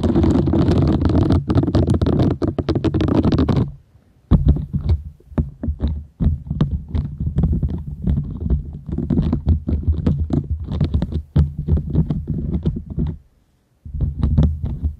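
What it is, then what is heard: Silicone scrubber sponge. Long nails scratch across the small bristles of a round, green, palm-sized silicone scrubber sponge, solid and flexible, held close to the microphone. A dense, steady scratching with a deep, rumbling low end runs for nearly four seconds. After a brief pause it breaks into quick, uneven bursts of scraping with bright ticks on top, stops again near thirteen seconds, then resumes.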